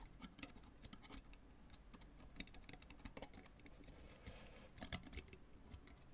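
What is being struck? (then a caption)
Synthetic tennis racket strings on a graphite frame. A white fork held in the fingers scrapes and plucks the taut synthetic strings of a full-size tennis racket with a graphite frame lying flat, giving a quiet, dry run of short bright scratches and ticks. Each pluck dies away at once, with no ring, over a faint low rumble.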